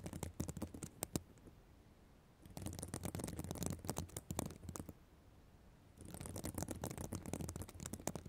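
Long black nails scratch the plastic sequins of a reversible sequin fabric notebook cover, making dense, crackly, bright rasping and ticking. The scratching comes in three bursts separated by short quiet pauses, over a steady low hum.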